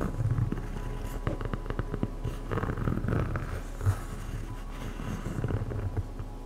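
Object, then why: EVA foam slide sandal. Long acrylic nails tap and scratch on the hollow strap and sole of a black EVA foam slide sandal, medium size. The result is a steady run of soft, dull, low, thudding taps with short crackly scratches between them, each tap dying away almost at once.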